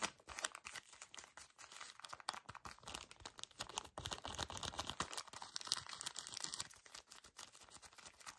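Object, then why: Pocket tissue pack in thin plastic wrap. A full pocket pack of paper tissues wrapped in thin plastic is gripped and crinkled fast by fingertips. The result is a dense, continuous run of bright, crackly plastic rustling with many quick overlapping crunches and almost no low end.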